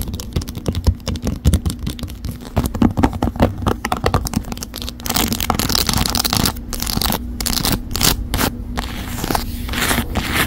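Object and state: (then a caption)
Faux leather phone case. A white croc-embossed faux leather phone case with a gold metal camera frame and corners sits on a phone in a stand while long acrylic nails rapidly scratch and tap its textured back. Dense clicky taps and rough scraping run throughout, turning into longer, brighter scratching strokes in the second half.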